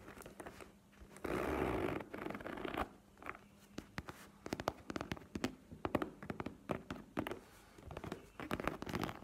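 A map-print faux leather cosmetic pouch lies flat and is tapped and scratched with long painted nails. A loud, broad scratching rasp runs for about two seconds, then gives way to a long series of quick, dry taps and softer scrapes on the leather surface.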